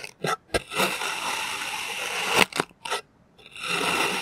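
A clear plastic knife presses and scrapes through slices of green kinetic sand on a white surface. Short bright crunches and scrapes alternate with a longer grainy, hissing drag, ending in another sustained gritty scrape.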